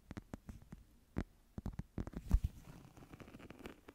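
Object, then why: Woven wicker or rattan clutch. A small flat woven wicker/rattan clutch, held in both hands close to the mic, is scratched and tapped with long nails. Sharp, dry taps stand out against a soft, scratchy rustle that thickens in the second half. The sound is quiet and mostly low.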